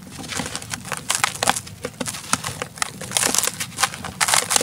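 Bare fingers squeeze and crumble a large molded chunk of dry grey-brown sand cement, solid and crumbly, held over a turquoise plastic tub. The result is a dense run of short, bright, dry crackles and crunches, with loose sand trickling and pouring down onto a powder pile below.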